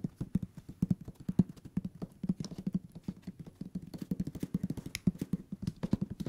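Fingertips tap rapidly on the page-block edges of a thick hardcover book held sideways, making a quick, uneven stream of soft, dull thuds. Each tap is short and low, with a muffled tone around 184 Hz, a faint papery tick on top, and almost no ring.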